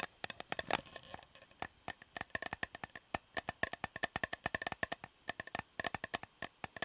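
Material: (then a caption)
Metal. Fingers tap on an unopened, shiny Fortnum & Mason metal fruit cake tin with the cake still inside and sticky tape on its rim. Dozens of quick, dry, tightly damped taps come in uneven bursts, each a short bright click with a tonal ring near 1.8 kHz and almost no low end.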